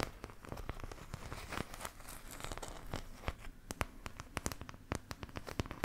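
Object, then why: Thin plastic paint palette. Long nails scratch and tap the wells of a thin, empty, oval white plastic paint palette held close to the mic. Dry, crinkly scraping runs throughout, broken by quick, sharp taps that stop instantly with no ring. The sound is quiet and close, with most of its weight in the low end.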